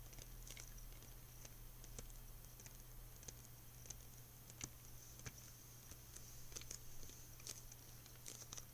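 A closed, hand-sized, hollow white plastic clamshell case holding a Lilo & Stitch VHS tape, with a printed cover sleeve, is held in both hands and tapped and scratched with fingertips and nails, alongside soft gum chewing. Quiet, quick, bright clicks and scratchy patter come in irregular bursts over a steady low hum.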